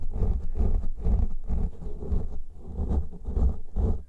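Fingertips and nails of both hands scratch the tops and sides of two large black soft, porous foam windscreens covering a pair of microphones. The scratching comes as a steady run of deep, muffled, rumbling bursts, almost all low thuddy texture with little brightness. Each stroke swells and fades quickly into the next.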